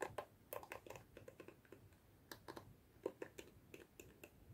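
Long fingernails scratch and flick the dense plastic bristles of a hand-sized black plastic detangling hairbrush held in both hands. The result is a quiet, irregular run of short, dry, crisp plastic ticks and flicks with bright edges over a faint hiss.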